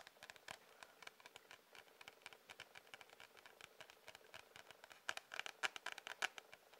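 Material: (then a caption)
Cardboard. Fingernails of both hands rapidly tap and scratch the printed cardboard front cover of an A4 sketchbook. The result is a quiet, uneven stream of crisp, bright clicks and scratchy rasps that stop dead with no ring. The taps grow louder and sharper in the last couple of seconds.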